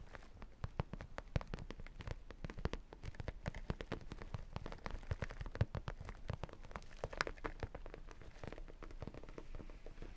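A holographic vinyl makeup bag is held upright with its vinyl side facing out while fingertips and nails tap and scratch across it, briefly switching to a sequin side. The result is a quiet, steady stream of quick, dry clicks and soft, low-heavy thumps, with a faint scratchy crackle between them, each tap dying away almost instantly.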